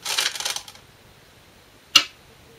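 Korean glass go stones (size 36, 10.2 mm) are placed normally, not slammed, on a 2-inch shinkaya wood floor go board while a professional game is replayed. A flurry of quick, bright, light clicks fills the first three-quarters of a second, followed by near silence, then one sharp, bright click just before the two-second mark that dies away quickly. The clicks are high and thin with almost no low end.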